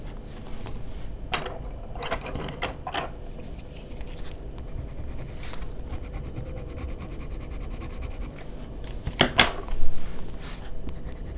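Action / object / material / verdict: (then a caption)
scrape / wooden coloured pencil on a paper sheet / paper / none. A green wooden coloured pencil is rubbed in short strokes across a flat, solid white paper sheet in a sketchbook to shade a drawing, while the other hand holds a second, unused pencil. Soft, dry scratching strokes come in brief bursts over a steady low background hum, with a few sharper, louder scrapes near the end.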